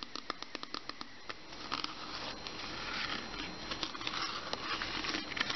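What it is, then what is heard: Plastic water bottle. Fingernails tap and scratch the sides and label of a mostly empty clear plastic water bottle with a green cap, held in both hands. Quick, sharp, bright taps come first, then give way to a denser, louder run of crinkly scratching mixed with more taps.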